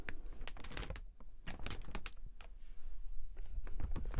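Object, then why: Clear plastic umbrella canopy. A large open clear plastic umbrella with metal ribs has its canopy rotated and rubbed with the fingertips. The result is a steady run of short, dry crinkles and rustles, with brief quieter gaps between them.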